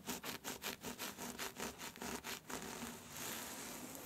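Long nails scratch a thin, smooth black scarf with a white skull print, making about ten quick, bright, hissing strokes. The strokes then blend into a steady, soft rustling as a gathered fold is scrunched and rubbed between the fingers.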